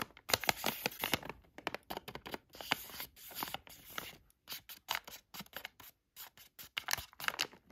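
A thin black tweezer tool traces and scratches across a hand-sized Plackers dental flossers bag, thin plastic with a clear window and full of plastic floss picks. It makes a rapid run of short, dry, crinkly scratches and rustles, bright and hissy with almost no low end. The quick bursts come in uneven clusters with brief silent gaps between them.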